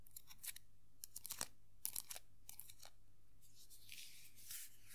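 Long nails scratch and rub the top hat of a small hollow vinyl Tuxedo Mask Funko Pop figure. A quiet series of short, bright, crackly scratches gives way near the end to a softer, steady rubbing hiss over a low background hum.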